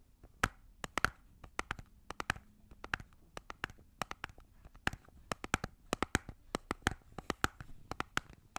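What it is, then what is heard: Plastic cosmetic container. A small, hollow, round red plastic compact-style cosmetic container is held in both hands while long nails and fingertips tap and scratch around its sides and lid. The result is a quick, irregular stream of sharp, dry clicks with a hollow plastic tone around 1.4 kHz, bright edges and almost no ring, over a faint low hum and soft scratching.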